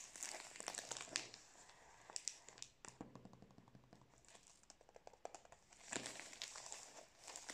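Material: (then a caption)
Plastic film. Fingers rub, squeeze and crinkle the plastic wrapper of a full Prince biscuit roll. The sound is a bright, dry crackling in irregular bursts, louder near the start and again near the end, with quieter scattered crinkles in between.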